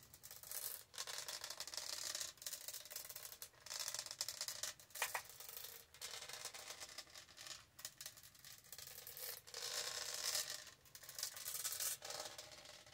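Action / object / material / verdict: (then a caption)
scrape / plastic tumbler with a ridged diamond-textured surface / plastic / none. Long acrylic nails scratch and rub along the diamond-textured side of a tall, hollow purple plastic tumbler held in the hand. The sound is a dry, bright, raspy scraping in bursts separated by brief pauses, with almost no low end and no ringing after each stroke.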